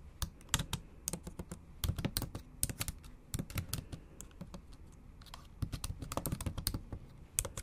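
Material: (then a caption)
Plastic. Long acrylic nail tips and fingertips type on the backlit black plastic keys of a MacBook Pro keyboard set in a silver aluminium body. The result is a steady run of quick, dry clicks and soft taps, each with a low thud and a bright, sharp edge that dies away almost instantly, with a few louder strikes scattered through the bursts.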